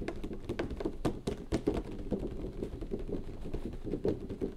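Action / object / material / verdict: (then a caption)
tap / cardboard box with a plastic window / cardboard, plastic / none. A boxed anime figure in retail packaging (a hollow box with a clear plastic window over a cardboard base with a printed logo, the figure inside) stands upright on a desk. Fingertips of both hands tap and knock rapidly on its plastic sides. The result is a dense stream of short, hollow, muted knocks with a low-mid body and quick decay, and a few louder thumps stand out.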